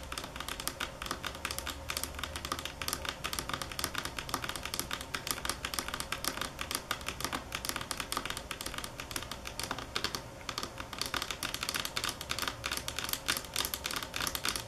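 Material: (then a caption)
Marble. Long fingernails tap on a marble table top at varying speed and force. Rapid, dense, bright clicking runs steadily throughout, each tap dying away almost instantly with little low-end weight.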